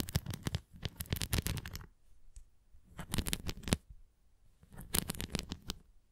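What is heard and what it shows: A red plastic flying disc toy is held tilted while long nails scratch across its bumps and rim. The result is quick bursts of dry, rapid scratching and tapping with some bright edges, heard in three clusters separated by brief quiet gaps.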